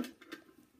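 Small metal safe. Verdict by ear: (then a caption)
Full. A small, heavy metal birthday safe found under a bed is shaken, and the loose contents inside give four short, dry rattling knocks, like rocks shifting around. The rattle confirms there is stuff inside the locked safe.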